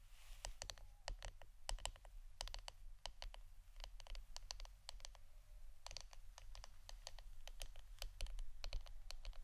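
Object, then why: Wooden incense stick holder. Fingernails tap the wooden part of an incense stick holder, making a quick, irregular run of short, dry, clicky taps that die away almost at once. The taps stay quiet over a steady low hum throughout.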